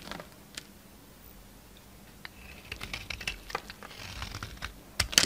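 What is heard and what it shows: A utility knife blade shaves crumbly chunks and flakes off a solid, mostly white bar of soap held in the palm. Quiet at first, the sound builds into a series of bright, dry scraping and crackling cuts with short, crisp ticks. A louder burst of crumbling comes at the end.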